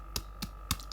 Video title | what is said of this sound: Subscribers save me from destroying my windows | it's not quite done it should sound kind of hollow